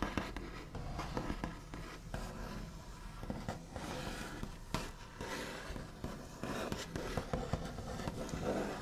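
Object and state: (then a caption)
Wooden tabletop, solid. The backs of fingernails rapidly tap, scratch and trace across a large, solid wooden tabletop with a smooth white finish. Quick, dull knocks with short decay are heard over a continuous dry, scratchy rasp, with the sound weighted toward the low end.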